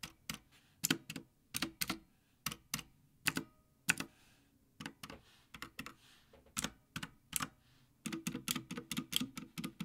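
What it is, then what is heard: Plastic mechanical keyboard being typed on. Fingertips type and tap on a full-size backlit Havit mechanical gaming keyboard with black plastic keycaps on a metal top plate, resting on a dark desk. Short, bright switch clicks come in uneven bursts with brief pauses, then a faster, denser run of keystrokes at the end.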